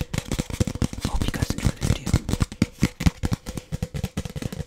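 A white translucent frosted plastic drinking cup, hollow and empty, is held in both hands and tapped and scratched with fingertips and nails on its side and bottom. The result is a rapid, uneven run of short, dull, low-pitched taps with a faint scratchy crackle and almost no ring, plus some speech.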